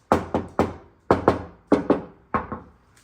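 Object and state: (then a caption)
Hollow untreated car fender panel. Nine knocks, mostly in quick pairs, land on the bare sheet-metal fender panel of a Tesla Model Y that has not yet had sound deadening applied. Each knock is a short, hollow mid-range thud that dies away quickly. The untreated panel sounds less solid than the already treated fender on the other side.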